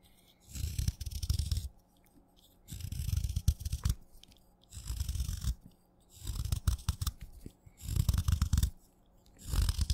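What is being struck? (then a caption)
Wet chalk stick. A craft knife shaves layered flakes off the surface of a solid wet black chalk stick held upright. There are five separate crunchy, scraping passes, each about a second long, with a sixth starting at the end. Each pass is deep and low-heavy with a faint bright hiss, separated by short pauses of near-silence.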